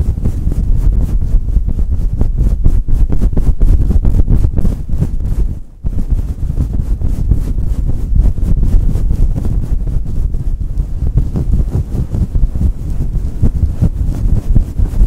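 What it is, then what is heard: Fur microphone windscreen being scratched. Fingertips of both hands scratch and rub a fluffy synthetic faux-fur microphone windscreen throughout, producing a dense, muffled, low rumbling scratch with rapid, uneven strokes at about four per second. The sound is almost entirely deep and boomy with no bright content, and briefly drops out just before the six-second mark before continuing.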